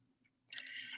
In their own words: Je ne sais pas si vous entendez le tapotement, mais la résine est dure maintenant.